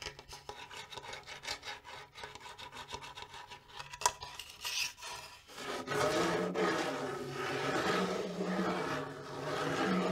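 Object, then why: Small wooden bongo drum shell. Long nails scratch and tap the wooden side of a small, hollow-shelled wooden bongo drum with a metal rim and lugs. Quick, light tapping and scratching runs through the first half, with one sharper tap near the middle. It then gives way to a louder, denser, continuous rasping scrape with a bright, woody texture.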